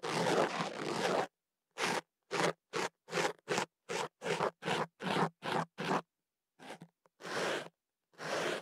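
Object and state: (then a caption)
Paper tube scratched inside. A thin ear pick scratches inside a hollow white kenaf paper tube wrapped around a microphone. A long, rough scraping rustle is followed by a run of short, regular papery scratches separated by silence, then a few longer scrapes. The strokes sound dry and crackly, spread from low-mid to bright highs.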